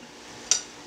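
A stovetop grilled cheese sandwich's toasted bread is tapped or scraped once with a utensil to test its crispiness. The result is a single short, bright, high-pitched crunch that dies away quickly over faint background hiss. The sandwich proves pretty crispy.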